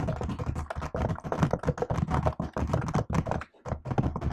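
Fingertips with long nails type continuously on the black plastic keycaps of a MacBook-style laptop set in an aluminium body. The result is a dense, fast stream of short clicky taps with a low, thuddy body and almost no ring, broken by one brief pause near the end.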